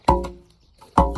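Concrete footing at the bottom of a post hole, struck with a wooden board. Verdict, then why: Solid. During a post-frame building inspection, a 2x4 is pounded against the concrete footing at the bottom of a post hole. Two solid, hollow knocks are heard, each with a low thud and a brief woody ring that dies away quickly. The firm strikes confirm the concrete footing is present.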